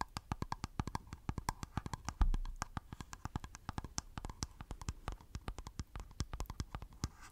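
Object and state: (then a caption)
Plastic powder jar tapped. Fingertips and nails tap quickly on the lid of a small, round, hollow, black plastic face powder jar held in one hand close to the mic. The result is a fast, uneven run of dozens of short, dry, hollow clicks with a low, thumpy body and a bright tick from the nails. One heavier knock lands just past two seconds.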